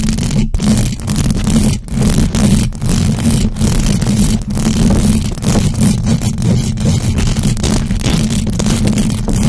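Long acrylic nails on both hands scratch fast across the hollow metal mesh grille of a large black USB microphone with no cover. The result is a loud, continuous, dense scratching roar, heavy in low rumble and thick booming texture, with only brief dips between rapid strokes.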